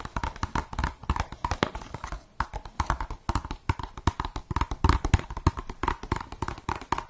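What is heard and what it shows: Long nails tap and scratch the side of an empty translucent blue plastic cup held sideways. Rapid, dense clicks and soft thuds carry a hollow plastic tone with scratchy texture in between. Each tap is dry and dies away almost instantly.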